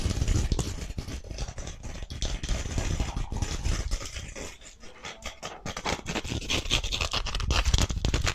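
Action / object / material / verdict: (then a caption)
scrape / emery board nail file / abrasive board / none. A thin, flat emery board nail file with a blue patterned abrasive surface is held in both hands close to the microphone and scratched and rubbed rapidly with the fingernails. Fast, irregular rasping strokes carry bright gritty hiss over a heavy low thump from close handling. The scratching eases briefly around the middle, then grows louder and denser toward the end.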